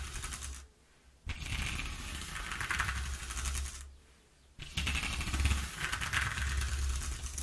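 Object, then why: Corrugated cardboard sheet. Fingernails scratch rapidly across the exposed ridges of a single-face corrugated cardboard sheet, making a fast, ridged rasping with a low rumble and a bright, hissy texture. The scratching comes in bursts, stopping briefly near the start and again around the middle before resuming.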